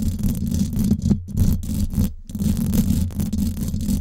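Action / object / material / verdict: scrape / steel wire-mesh microphone grille / steel mesh / none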